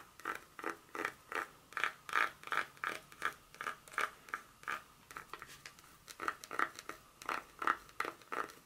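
Long nails scratch along the segments of a solid dark chocolate bar held in one hand on its foil backing. A steady run of short, dry scratching strokes, roughly two to three per second, has a raspy tone centred near 1.4 kHz with bright edges and no low end. Each stroke stops almost at once with no ring.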